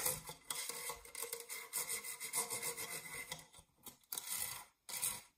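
Fingernails scratch the ribbed side wall and base of an empty dark metal springform cake pan. The result is a steady, bright, rasping scrape with little low end, broken by a few short pauses near the end.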